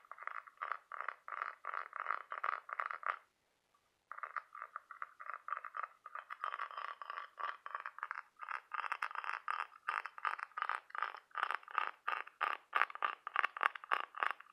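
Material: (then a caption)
Shell. A hollow, ribbed cockle half-shell with a brown checkered pattern is held in one hand while fingertips and nails tap and scratch along its ribs. This makes rapid bursts of dry, clicky, bright rasping with no low end. The rhythmic scratching stops briefly near the three-second mark, then resumes and grows denser and slightly louder toward the end.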